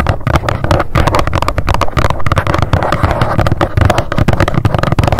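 Long decorated nails tap fast on the face of a small, hollow white cardboard box with a pink label, standing upright. The result is a dense, continuous stream of quick, hollow taps with a deep, boomy low end and little high brightness.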